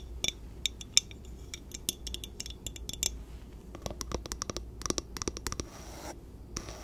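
Long painted nails scratch and tap the glass sides and wooden bamboo lid of a small, empty, clear glass storage jar with measurement markings, held in one hand. Quick, bright clicks and scratchy strokes ring high and die away almost instantly over a faint low hum, with a denser run of taps in the second half.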